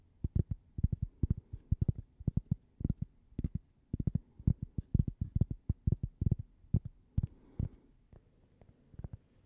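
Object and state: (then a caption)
Cork coaster tapped with fingernails. A thin, flat, toast-shaped solid cork coaster with a logo is tapped and scratched with long painted fingernails close to the microphone. It produces rapid, irregular clusters of soft, dull low thuds with almost no ring and faint high ticks on top. The taps thin out toward the end of the clip.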